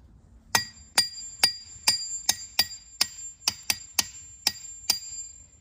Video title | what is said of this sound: The Sound of Science: Ringing Rocks Park | each of these rocks has a special sound As You can see these rocks make music